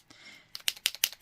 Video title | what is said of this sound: Easy Christmas cards with bubbles :) Fun Fast and Easy | there's stuff in there because I haven't used it all up